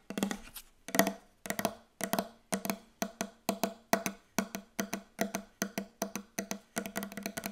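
Very fast tapping on a wooden table comes in quick clustered bursts of sharp, dry knocks. Each tap is brief, with a woody tone around 200 and 670 Hz and almost no ring, and the bursts repeat steadily throughout.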